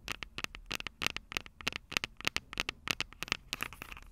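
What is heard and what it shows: Long purple nails scratch and tap the small, hollow, silver metal microphone capsules on a Tascam DR-05 recorder. About two dozen sharp, bright clicks and scratches come in an irregular, quick rhythm, with almost no low end and no ring after each hit.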